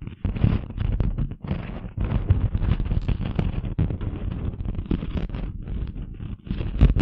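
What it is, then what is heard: Glitter craft sheet being scratched. A flat, thin, rectangular craft sheet with a chunky rose-gold glitter surface is held upright in front of a microphone and scratched and rubbed with long manicured fingernails. The result is a dense, rough, continuous scratching with a heavy low rumble, broken by a few brief pauses.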